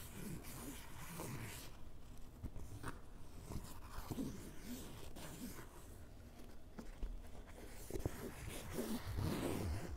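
A white ballpoint pen tip is scratched back and forth across the soft, hollow fabric of a grey canvas fanny pack with black straps resting on a table. The result is a quiet, irregular rasping and scuffing texture weighted toward low frequencies, with a few sharper strokes near the end.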